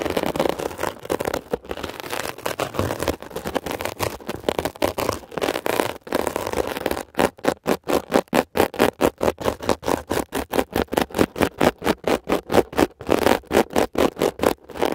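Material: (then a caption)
Foam. A metal ear pick scratches a blue mesh-covered textured foam scrub sponge, giving a dense, continuous rasping scratch for about seven seconds. It then breaks into quick, evenly spaced scraping strokes with brief silent gaps until the end. The scratching is dry and crackly, centered in the low-mid range.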